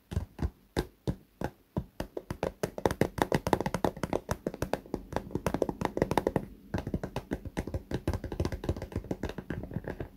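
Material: Fabric, vinyl.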